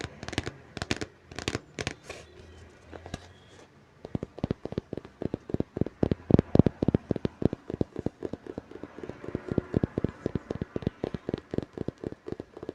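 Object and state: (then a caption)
Book tapped. Fingers tap rapidly on a book, giving dense, dry taps with light scratching between them. The short, sharp hits have almost no ring and sit mostly in the low range. A brief quieter pause comes just before the four-second mark, then the tapping picks up again at a steady pace.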